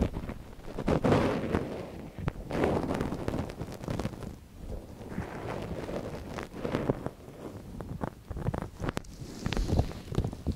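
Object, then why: Silicone ear of a binaural microphone. A gloved hand scrapes a long thin wooden stick inside the canal of a small soft silicone ear on a binaural microphone. Close, muffled rustling and scratching swells and fades in uneven strokes, heavy in the low end, with occasional sharper clicks and thumps. The sound stays dull and close throughout.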